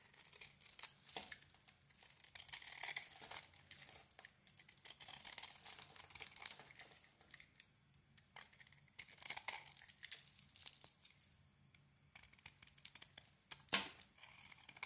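A utility knife blade shaves a rectangular solid bar of soap with a red heart-patterned coating and a cream interior. The result is quiet, bright, crisp scraping and tearing crackles in uneven bursts, swelling louder around the third, ninth and fourteenth seconds, with almost no low end.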